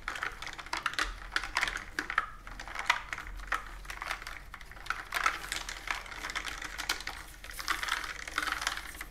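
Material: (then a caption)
Plastic. Fingertips and long nails type and tap on a plastic computer keyboard with round plastic keys resting on a table. The result is a steady stream of quick, light clicks and bright clacks that die away almost instantly, with busier bursts scattered throughout.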